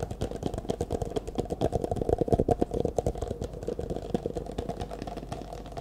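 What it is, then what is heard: Plastic cup being tapped and scratched. An empty, hollow, disposable clear plastic cup is held in both hands while fingertips and nails rapidly tap and scratch its sides. The result is a dense stream of quick, dry clicks and light scrapes with a hollow midrange resonance. Each tap dies away almost instantly.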